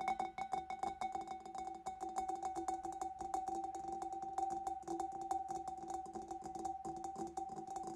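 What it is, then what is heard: Glass fish bowl tapped. Fingers and nails tap rapidly on the back and sides of a large, hollow, empty clear glass fish bowl. A dense, continuous stream of quick, bright clicks rings briefly with a steady glassy tone around 760 Hz.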